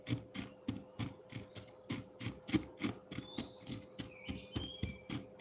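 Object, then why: Frozen milk ice block and metal fork. A metal fork scrapes again and again across the front face of a solid frozen pineapple milk ice block, making about 18 short, crunchy, gritty strokes at an uneven pace. A steady low hum runs underneath, and faint high whistling tones drift in during the second half.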